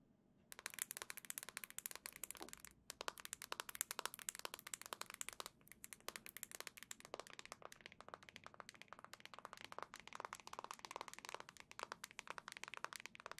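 Long nails rapidly tap and scratch the black plastic shell of a handheld Switch console, making dense, crisp, bright clicks and scrapes. The quick strokes run almost continuously for about 13 seconds, with brief pauses near 3 and 5.5 seconds, in a quiet space.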